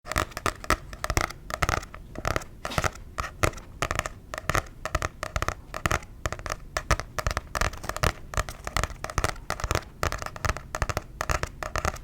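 A paper book is tapped rapidly and unevenly, producing a dense run of short, dry taps. Each tap has a soft low thump with a papery, scratchy click on top and dies away almost immediately. The tapping continues steadily and quietly throughout, with no talking.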